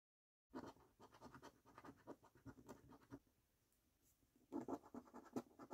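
A coin edge scratches the latex panels of a thin, flat paper National Lottery "Snack Stack" scratch card with a latex coating. Quick, dry, rasping strokes come in bursts, pause briefly near the middle, then resume with a few louder scrapes. The sound is quiet and close, with no ring after each stroke.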